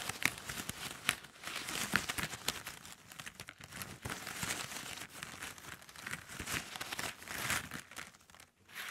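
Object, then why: Pile of thin plastic drinking straws. Fingertips and long nails rub and scratch across a pile of thin, hollow plastic drinking straws on a table. The result is a dense, bright, crinkly scratching texture with sharp little clicks and rattles scattered throughout, and almost no low end.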